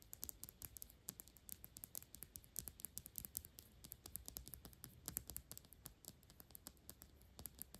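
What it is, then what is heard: Glass perfume bottle. Long pink nails rapidly tap and scratch the sides of a square, thick glass Byredo perfume bottle, partly full, as it is tilted in the hands. The result is a quiet, fast, uneven run of sharp, dry clicks with bright high edges and almost no ring, mixed with soft scratching over a faint low rumble.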